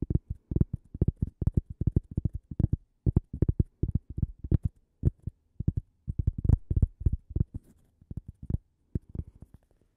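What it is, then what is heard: Cork coaster. A small, thin, solid toast-shaped cork coaster, held edge-on, is tapped and scratched with long fingernails. It gives dull, low, muffled taps that stop almost instantly, arriving in quick irregular clusters with brief pauses, plus faint soft scratching between them.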